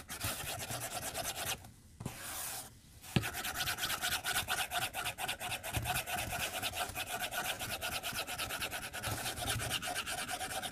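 A white plastic stylus tip is stroked back and forth across a glass tablet screen resting on a white desk. It makes fast, bright, dry scratching and rubbing strokes in an uneven rhythm. The strokes pause briefly near the start, then resume with a sharp tap and run steadily to the end.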